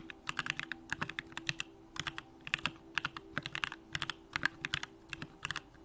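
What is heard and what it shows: A compact Bakeneko65 mechanical keyboard with an aluminum case, Durock lavender switches and pink plastic keycaps is typed on continuously with the fingertips of both hands. Quick bursts of short, bright, crisp key clacks die away instantly over a faint steady low hum.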